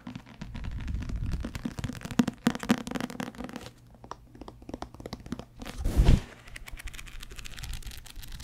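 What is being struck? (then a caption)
Paperback book with paper pages. A thick paperback book with a paper cover and paper pages is held in the hands and turned edge-on while the page edges are riffled and the book is tapped with fingertips. The result is a dense, low, papery flutter of quick soft ticks and thumps, swelling into a louder whooshing riffle near the end before settling back to light tapping.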